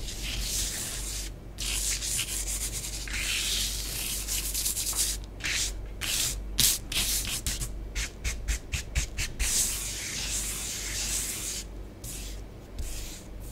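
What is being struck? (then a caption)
Bath bomb powder on a tabletop. Long nails scratch and trace lines through a layer of orange bath bomb powder spread on a flat tabletop. Bright, hissy rubbing strokes come in an irregular rhythm, separated by brief quiet gaps, over a steady low hum.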